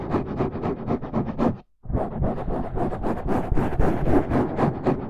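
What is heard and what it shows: Fingertips of both hands scratch and rub the sides of a dark, rounded foam windscreen over a microphone in low light. The result is a quick, rhythmic run of close, scratchy rustling strokes with a heavy low-end rumble. A brief silence falls just before the two-second mark, then the scratching resumes denser and brighter to the end.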